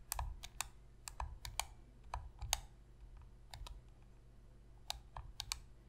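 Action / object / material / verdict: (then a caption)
tap / plastic game controller tapped with fingernails / plastic / none. Long nail tips tap the face buttons and hollow plastic shell of a black PlayStation controller lying on a white surface. The result is a run of quick, dry clicks with bright, sharp tops and a soft low thump, coming in uneven bursts with quieter gaps between.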